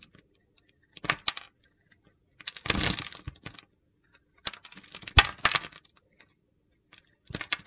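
A utility knife carves shavings and curls off a solid purple bar of soap. The cuts come as short bursts of crisp, bright scraping and crunching, broken by quiet pauses.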